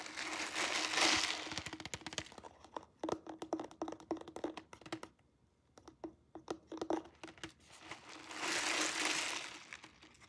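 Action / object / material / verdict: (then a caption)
tap / plastic cup with ice and liquid / plastic / none. Long nails tap quickly on the walls of a clear plastic cup filled with ice and liquid, held in the hands. The sharp clicky taps come in irregular bursts with a faint ringing tone, framed by louder rustling swells at the start and end.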